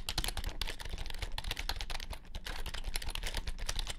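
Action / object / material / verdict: tap / plastic compact keyboard / plastic / none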